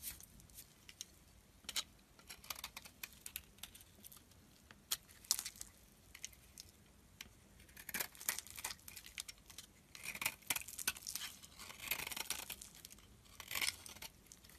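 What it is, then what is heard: Bar of soap being scraped. A solid cream oval bar of soap held in the hand is smoothed by scraping it with a metal utility blade and rubbing it with the fingers. Quiet, dry, bright scrapes and crinkly scratching come in irregular bursts, with denser, louder stretches of scraping toward the end. There is almost no low end.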